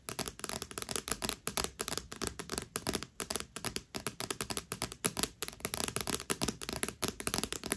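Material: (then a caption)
Cardstock. Long nails tap and scratch rapidly on the front of a thick paperback book with a glossy cardstock cover. The result is a dense, steady stream of quick, crisp clicks and scrapes, bright and dry, with each touch dying away almost at once.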